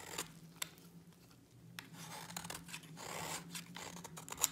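A utility knife blade scrapes a solid white bar of dry soap. Quiet, dry, bright scraping and shaving strokes are broken by a few sharp crisp clicks, over a faint steady low hum.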